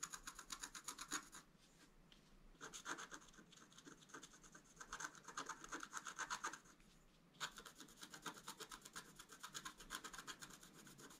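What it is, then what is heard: Scratch art card being scratched. A wooden stylus scratches the top flowers into a flat black-coated scratch art card. Quick, dry, bright scratching strokes come in three bursts, separated by brief quieter pauses. The sound has a high, rasping hiss and little low end.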